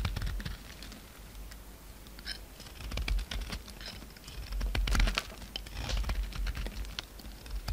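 A utility knife cuts and scrapes chips off a solid pink soap bar, which shrinks as it is carved. Quick, crisp ticks and short scraping rasps patter along irregularly over a steady low hum, with brief louder bursts of shaving.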